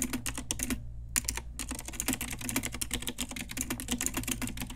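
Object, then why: Plastic mechanical keyboard keys. Rapid, continuous typing with long nails and fingertips of both hands on a pink Ajazz retro typewriter-style mechanical keyboard with round plastic keycaps and a backlight, resting on a desk with a wrist pad. Bright, sharp plastic clicks come in a quick, dense stream with a brief pause early on, over a steady low hum.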